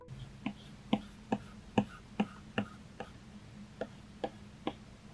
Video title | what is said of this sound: Drawing on the iPad 10.2 7th Generation for the First Time! - Do I Regret Spending Money on This? | it does make this kind of loud hollow tapping sound when you tap the screen with the pencil